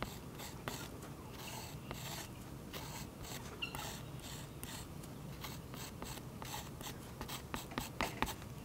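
A fine metal-tipped pen tool scratches lines into a thick, waxy oil pastel coating on a taped sketchbook page resting on a solid flat surface, heard close up. Short, dry, scratchy strokes come in repeated bursts of bright rasping over a low, steady background, with a few sharper scrapes toward the end.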